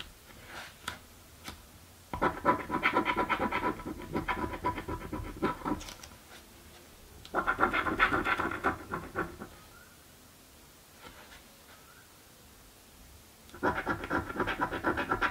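A coin scrapes the coated panel of a thin card "Mystic Riches" scratch-off lottery ticket held flat, making rapid, gritty rasping strokes. The scratching comes in three bursts separated by quiet pauses, with a bright, papery texture centered in the mids.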